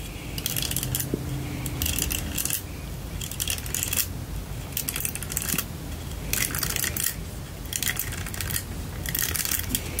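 Long lilac-painted nails tap and scratch a lilac plastic paddle detangling hairbrush with bristles, a vented spiral pattern and a hollow open frame. Bright, crackly bursts of scratching and clicking come in a steady rhythm, each lasting about a second. A low rumble fills the gaps between them.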